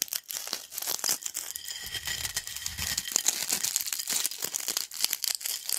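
A pile of yellow crunchy corn snack chip crumbs on a black plate is pressed and crumbled with fingertips. Dense, bright crackling and crunching snaps come in quick irregular bursts, with almost no low end and no ring after each crunch.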